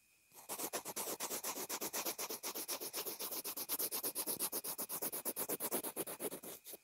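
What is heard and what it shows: A graphite pencil tip scribbles and scratches across a small white plastic inline earphone remote and mic taped to fabric. After a brief quiet moment, a fast, steady run of short, dry, bright scratching strokes follows, with little low end and almost no ring after each stroke.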